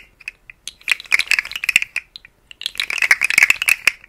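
A rainbow, segmented, hollow plastic articulated slug fidget toy is held in fingers with long nails and wiggled so its segments rattle and click. Two bursts of rapid, dry, bright clicking centered near 2.2 kHz are separated by a brief pause, with each click dying away almost instantly and no low end.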